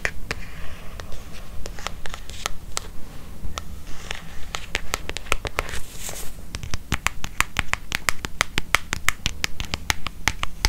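A small brown leather-covered notebook with paper pages, held upright in one hand, is tapped and scratched with long painted nails and possibly a paper clip. Quick, dry, bright clicks with almost no ring arrive in a fast, loosely steady rhythm, with soft scratchy brushing between them. A constant low hum sits underneath throughout.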